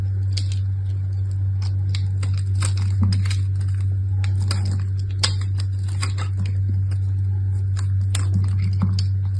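A hand with long red nails holds a small, solid piece of dried red soap with a pale, crumbly interior and scrapes and carves flakes off it with a utility knife blade onto a pile of shavings below. Quick, irregular, bright scratchy scrapes and crisp ticks sit over a steady low hum.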